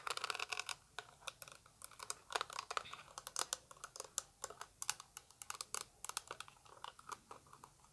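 Long acrylic nails tap a small translucent orange plastic eyeshadow palette in quick, irregular clicks throughout, with faint crinkle-like sounds, possibly from handling. Each tap is a sharp, bright plastic tick centered around 1.5 kHz that dies away almost instantly, with almost no low end.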